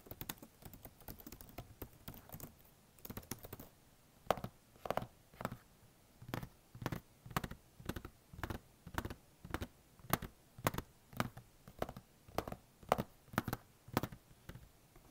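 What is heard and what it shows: Fingertips type fast and tap on the black plastic keys of a blue HP notebook's keyboard. A quick, dense run of light clicks in the first few seconds gives way to steadier, evenly spaced taps, each short and dry with almost no ring.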